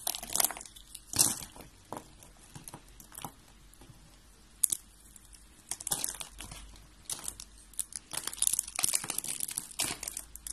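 Fingertips with red nails peel and crumble flakes off three yellow and white rolled dry soap roses made of hollow, thin layers. The flakes give off quiet, crisp crackling and brittle crunching in short bright bursts, with little low end and no ring.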